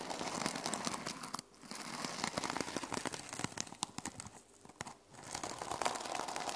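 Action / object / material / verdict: scrape / journal with plastic sequin cover / plastic sequins / none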